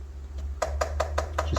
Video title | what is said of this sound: KUKIRIN G2 MAX // 1000w48v20ah // LA MEILLEURE VERSION // FR #escooter #kugoo #electricscooter | ça a l'air tout léger, ça résonne, ça fait un peu coffre de résonance